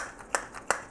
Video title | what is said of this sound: Don't shake your junk too hard... (PWJ113) | if this magnet here is sliding around if you shake it you hear it it bumps at the end